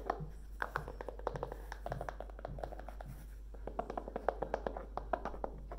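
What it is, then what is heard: E-reader in a fabric-covered case. Long nails tap quickly and irregularly on the cover of a Kindle in a dark grey fabric-covered folio case, which is about book-sized and solid. The taps are short, dry and muffled clicks with no ring, centred in the midrange over a steady low hum.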